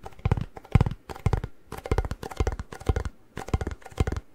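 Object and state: Chip can tapped on the lid.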